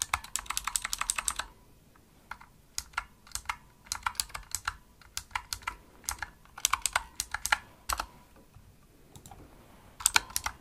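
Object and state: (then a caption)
Mechanical keyboard typing. Fingertips with medium nails press the hollow-shelled keys of a pink full-size plastic mechanical gaming keyboard (Razer Huntsman) with RGB backlight in fast, clicky typing. Bursts of sharp, bright clacks with almost no ring come in quick runs separated by short pauses, with very little low end.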